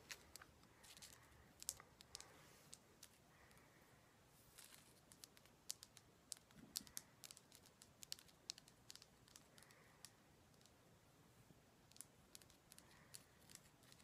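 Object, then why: Rock salt lamp. A heavy Himalayan salt rock lamp is tapped again and again, giving short, dry, bright clicks that die away almost at once. The taps come in irregular runs, some sharper and louder than others, over a faint low hiss.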